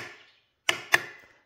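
A spoon taps twice on the metal lid of a glass jar of pears in brown sugar syrup that was water-bath canned. Each tap gives a short, bright, high-pitched tick with a quick ring around 1.8 kHz. The high pitch shows the lid has sealed, which is confirmed when the lid cannot be opened by hand.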